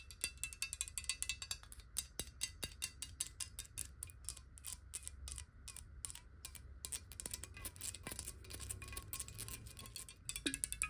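A clear glass water bottle filled with water is held in both hands and quickly tapped and scratched with long nails. Rapid, bright, sharp clicks follow one another with very short ring, over scratchy high texture and a steady low rumble.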